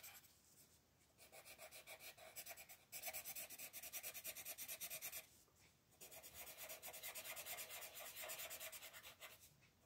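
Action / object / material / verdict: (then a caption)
scrape / colored pencil rubbing on a paper coloring book page / paper / none. A green colored pencil rubs back and forth across a page of an open paper coloring book lying flat on a table, filling in a large area. The rapid, steady strokes make a bright, dry scratching with a faint tone around 640 Hz. Brief pauses come near the start and just past the midpoint.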